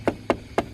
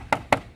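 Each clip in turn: First: solid, well-supported plastic body panel. Second: hollow-backed plastic panel.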